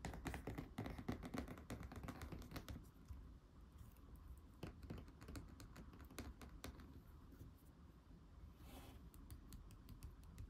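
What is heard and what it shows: Fingertips and nails tap and scratch the glossy back cover and edge of a thick laminated cardboard board book lying face down on a table. Quick, irregular dry taps mix with scratchy rubbing, busiest and loudest in the first three seconds. The tapping then settles into softer, scattered clicks with a dull, low body.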